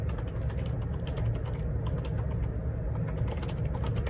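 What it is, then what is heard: Plastic keyboard typing. Fingertips type fast on the plastic keycaps of a black plastic Perixx Periboard 612 wireless Bluetooth split ergonomic keyboard resting on a grey table. The result is a dense, steady run of quick clicky key taps with bright ticks over a low, constant thud-like body.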